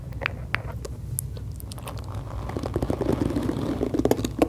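Long acrylic nails tap the hollow plastic back of a pink plastic detangling brush and scratch its black bristles close to the mic. Scattered bright clicks come first over a low steady hum, then the sound grows into a denser, irregular run of hollow taps and crackly scratching toward the end.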